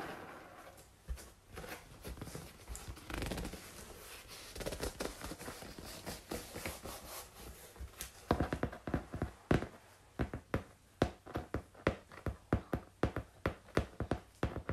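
A flat brown corrugated cardboard sheet is held upright while fingertips and long nails tap and scratch near its top edge. The first half is a soft, dense run of scratching and rubbing; the second half turns into distinct, sharp, dry taps with a low, hollow body and almost no ring. The sound stays quiet throughout.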